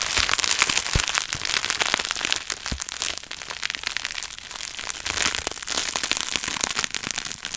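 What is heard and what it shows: A small wad of clear plastic bubble wrap with air-filled bubbles is held in the hands beside the microphone while fingertips pinch and pop the bubbles. The result is a dense, steady stream of bright, crackling snaps, with a few sharper, fuller pops standing out near the 1 and 2.8 second marks.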